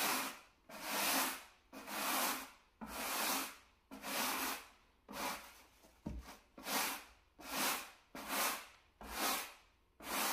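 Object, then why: Low-pile carpet mat scrubbed with a bristle brush. A wooden bristle brush held in a gloved hand scrubs near the edges of a small, solid, flat beige low-pile carpet mat. Repeated strokes, roughly one per second, each swell and fade as a bright, dry, scratchy hiss with almost no low end.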